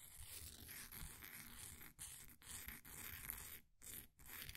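A flat wooden popsicle stick scrapes repeatedly down the crumbly side of a solid, green, ball-sized bath bomb of compressed powder held in a blue plastic ring holder. The result is a steady, dry, gritty scraping and crunching with a bright hiss and low rumble, broken by a few brief pauses between strokes.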